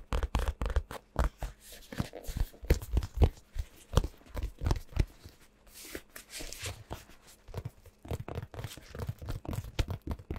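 A DXRacer gaming-chair neck pillow, medium soft and padded with a black and purple faux-leather or fabric cover, is held up in both hands close to the microphone. Fingertips and nails scratch and tap its surface in rapid bursts. The result is dense, scratchy, tearing-like textures with dull low thumps and short pauses.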